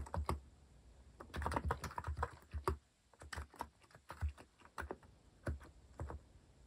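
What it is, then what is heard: Plastic mechanical keyboard. Fingertips type continuously on a compact mechanical keyboard with a white plastic case and plastic cat-shaped keycaps. Quick bursts of short, dull key clacks with a soft low thump under each press die away almost instantly, separated by brief pauses.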